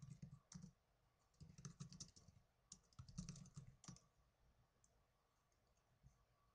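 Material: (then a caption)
Plastic. Fingertips with blue nails type on the plastic keys of a small black plastic netbook keyboard. Quick bursts of soft clicky keystrokes come in clusters separated by short pauses, each with a low thud and a bright tick. The typing trails off into a few sparse taps near the end.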